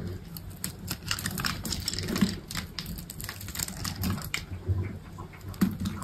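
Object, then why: Bar of soap cut with a knife. A solid green bar of soap is held in the hand while a utility knife shaves and slices along its edge, so thin flakes fall off. A rapid run of crisp, bright scraping crackles and short clicks plays over a soft, low rumble.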